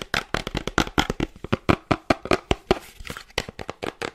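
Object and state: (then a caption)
Cardboard box. A small, hollow cream cardboard gift box with a window cutout is held in one hand and tapped and scratched quickly with long dark-painted nails. About two dozen short, dry, papery taps come in a fast, uneven run, with brief scratchy rustles between them. Each hit dies away almost at once with no ring.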